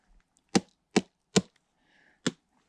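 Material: Wood.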